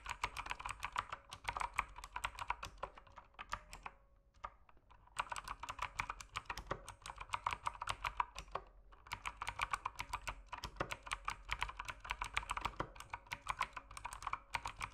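Fingertips type steadily on an RGB mechanical keyboard with plastic keycaps, producing rapid, bright clacks with a midrange click. There is a short pause around four to five seconds and a brief lull near nine seconds before the quick typing resumes.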